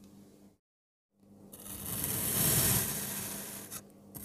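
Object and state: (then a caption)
Kinetic sand block being cut. A speckled pink knife cuts slices into a blue kinetic sand block and then cross-cuts them, making a crumbly scraping sound. After a soft opening and a brief silence, the gritty scrape swells into a bright, hissy peak, then eases off, with a steady low hum underneath.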